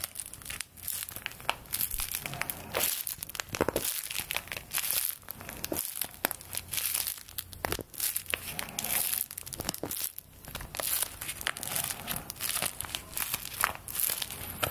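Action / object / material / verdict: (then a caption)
scrape / folded paper play-money bill / paper / none. A small folded paper play-money bill is held above the microphone and crinkled with fingertips and long nails. Dense, bright crinkling and crackling rustles continue throughout in quick, overlapping bursts, with very little low end.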